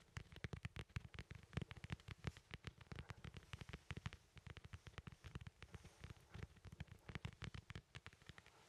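A small, solid, whole fresh yellow lemon is held close to the mic and tapped and scratched on its peel with fingertips and nails. The result is a rapid, uneven stream of short, dry taps that are soft and thumpy down low, each with a bright clicky edge from the nails, and quieter scratchy rustling fills the gaps between them.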